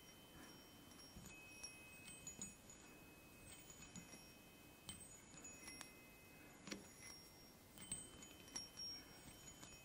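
Fingertips tap and stroke three hollow aluminium chime tubes mounted on a wooden block. Bright, sustained metallic tones ring out over a soft, steady low rustle as the tubes are struck again and again, with clear pauses between the notes.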